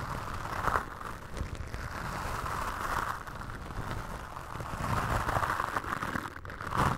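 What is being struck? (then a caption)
Foam microphone windscreen. Toothbrush bristles brush and scratch against a black foam windscreen on a microphone, making a continuous rough, scratchy rustle. The sound is dense, with a heavy low rumble and a hissy midrange band that swells and fades in waves, ending in a louder pass.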